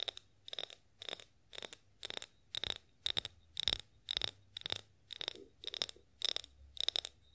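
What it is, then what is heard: Glass olive oil bottle. A clear glass olive oil bottle with a spout, partly filled and gripped in both hands, is tapped with long acrylic nails. About thirteen quick bursts of clicky taps ring out, each with a bright, high glassy ping and short decay, in a steady rhythm.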